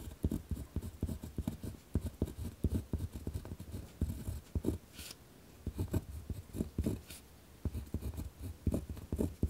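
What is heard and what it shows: A pen tip scratches along a thin torn-out sheet of lined notebook paper resting on a wooden desk as text is written, while the other hand rests still. Short, rough scratching strokes come in quick, uneven bursts, carrying mostly low, dull friction with a faint bright hiss. A few brief pauses break up the writing.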